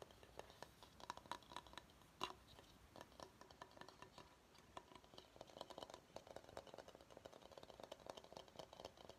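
Short fingernails tap and scratch across the underside and sides of a large, hollow, empty bamboo salad bowl held upside down. Quick, quiet, dry taps with a light hollow tone around 1 kHz mix with soft bright scratching, each tap dying away almost at once. The tapping runs in a steady, busy patter throughout, with one sharper knock early on.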